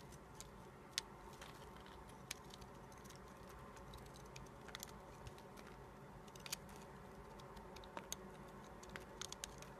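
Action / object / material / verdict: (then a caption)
scrape / bar of soap / soap / none. A red-handled utility-knife blade scrapes and shaves flakes off a solid white bar of soap, carved down to a narrow stick and held in the fingers. Quiet, steady, soft scraping is broken by frequent brief, crisp ticks and clicks with a bright edge that stop almost instantly.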